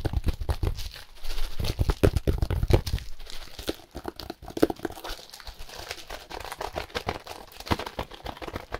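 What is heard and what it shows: Gloved fingers squeeze and scratch a brick-sized, solid block of compressed dry hay wrapped in clear plastic. Rapid, dense crinkling and scratching is heavy in low thumps, loudest over the first three seconds. It then settles into quieter, steadier rustling with occasional sharper crackles.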